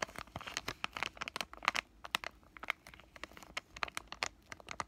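A palm-sized, thin, flat white pouch of acne patches made of flexible plastic laminate is held at its bottom edges and crinkled and squeezed with fingertips with short lavender nails. The result is a rapid, uneven run of sharp, bright crinkles and crackles that stop almost instantly, with hardly any low end.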